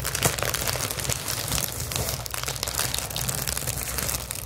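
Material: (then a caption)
Plastic. Clear plastic bubble wrap is crumpled, then held flat and scratched and tapped with long acrylic nails. A dense, continuous crinkling and crackling fills the bright high range, with quick sharp scratch and tap transients over a steady low hum near 117 Hz.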